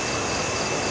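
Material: Nothing is struck.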